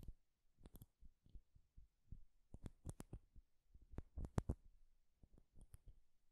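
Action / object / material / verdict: tap / small turned-wood game piece / wood / none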